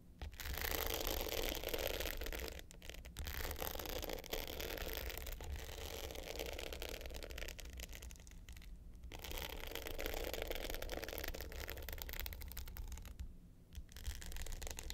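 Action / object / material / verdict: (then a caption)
scrape / glitter-coated hard-case clutch with metal frame / glitter coating / none. Long pointed nails scratch the dark blue glitter top of a small, rectangular, hollow hard clutch with a gold metal frame lying flat. The result is a dense, continuous rough scraping with bright grit and a low hollow rumble underneath. It pauses briefly around 3, 9 and 13.5 seconds.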